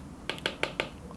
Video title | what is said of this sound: iPad 10 vs Tab S6 Lite (2022) for artists and drawing | when you're tapping or when you're drawing lines on the display you will hear the hollow tapping sound